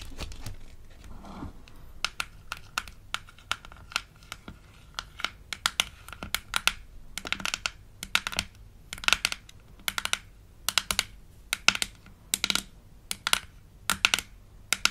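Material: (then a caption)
Plastic. Long acrylic nails tap and scratch the hollow, palm-sized, light-blue plastic lid of a smiley-faced toy teeth case from a Melissa & Doug Super Smile Dentist Kit. Quick, bright, dry clicks come in irregular bursts over faint crinkly scratching, each tap dying away almost at once.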